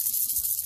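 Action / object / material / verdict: shake / plastic toy figure with pearl beads inside / plastic / loose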